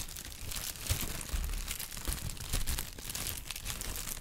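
Brown kraft honeycomb packing paper is squeezed and crinkled with the fingers. It gives a continuous, uneven crackle of bright, papery crinkles, with occasional soft low thumps and short crunchy bursts.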